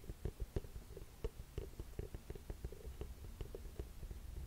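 Long nails tap and scratch the scuffed rubber sole and heel edge of a burgundy leather boot held sideways. The result is a run of soft, dull, low thuds with quick decay, mixed with faint scraping.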